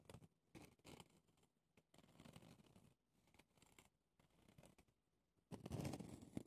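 Red-painted nails scratch and tap the pumice top and ridged plastic handle of a small pumice stone brush with a clear plastic base, held in the hand. Quiet, dry scratching and light tapping come in short, irregular bursts. A louder, rougher stretch of scratching comes at the end.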